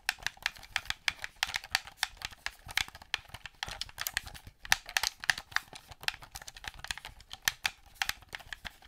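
A hollow black plastic gamepad controller, held in both hands, has its buttons clicked and its surface tapped with painted nails. The result is a rapid, uneven run of sharp, dry clicks and taps that are bright and high-pitched, with almost no low end. Each tap dies away almost instantly.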